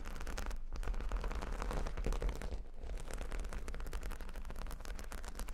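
Long nails scratch and tap across a square cork-bordered board covered in small plastic faux-pearl beads. The result is a dense, continuous clicking and rattling texture with a strong low rumble underneath.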